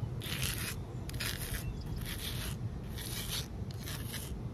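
Long nails scratch and rub across a large, solid outdoor concrete ledge in repeated gritty strokes. Each stroke is a bright, hissy rasp over a steady low rumble that fills the gaps between them.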